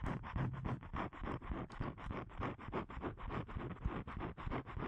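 Fingernails scratch the surface of a thin, flat blue cardstock card about a hand wide, held upright in both hands. The result is a fast, somewhat uneven run of short, dry scratching strokes, roughly three per second. Each stroke has a low, rough body and a papery mid-range hiss, with little bright top.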